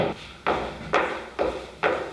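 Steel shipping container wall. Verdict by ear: Solid.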